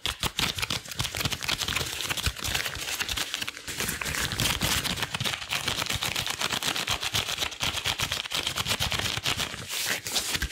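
Long blue rubber gloves worn on both hands are pressed together palm to palm and fingers to fingers, then rubbed and squeezed. A steady stream of rapid, bright rubbery squeaks, crackles and sticky snaps runs through the whole clip, with a high squeaky tone near 3.8 kHz and little low end.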